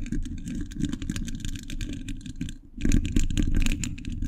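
Fingers wearing metal thimbles scratch and tap the hollow, domed steel mesh grille of a large condenser microphone. The result is a dense, irregular stream of rapid clicks and scrapes with a heavy low rumble and bright metallic ticks. The sound dips briefly to near quiet partway through, then returns louder.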